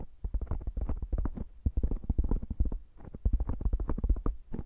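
A round black foam microphone cover is rubbed and squeezed by both hands with fingertips and nails in a fast massaging motion. The result is a dense stream of muffled, deep, thumping scratches and rustles, concentrated in the low range with little high end. Brief lulls fall near the middle and two-thirds of the way through.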